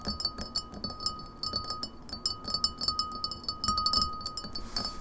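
Long fingernails tap rapidly on the sides of an empty glass pint glass standing upright on a table. The result is a fast, uneven stream of bright, clicky glass taps that ring only briefly, with a faint steady tone near 1.2 kHz and a high glassy shimmer above.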